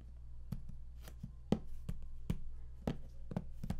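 Fingertips tap rapidly on the raised panel of the lid of a large, flat cardboard game collector's box, which is closed and hollow. A quick, uneven series of dull, low, hollow thumps sounds, each dying away almost at once, over a quiet low hum.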